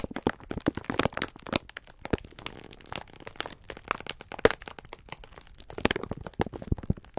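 Hands squeeze and rub the clear plastic film wrapper of a full pack of sponge scourers. It produces a steady run of sharp, dry crackles and crinkles with a softer rustling stretch near the middle. Each snap dies away almost instantly.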